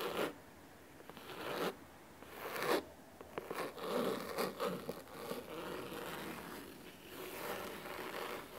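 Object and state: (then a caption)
Cloth-bound hardcover book. Fingernails of both hands scratch the cloth top cover of a large, solid blue cloth-bound hardcover book resting on a wooden table. The result is a series of crisp, dry scratching bursts that rise and fall, centered in the midrange with faint high hiss and almost no low end.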